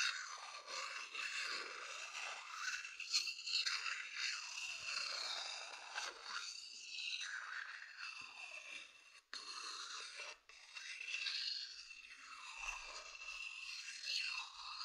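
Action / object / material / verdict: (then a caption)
scrape / wooden bowl / wood / none. A thin wooden stick scratches across a medium hollow wooden bowl, making a steady, dry, bright scraping with small rasping peaks. The scratching runs almost continuously, broken by two brief silences near the middle.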